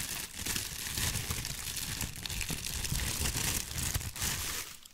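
A large, thin, white crinkly tissue paper sheet is held up in both hands and crumpled and shaken with the fingers in front of the mic. The crinkling is dense and continuous, with a bright, hissy rustle over a low rumble and a few sharper crackles. It holds steady throughout and fades out at the very end.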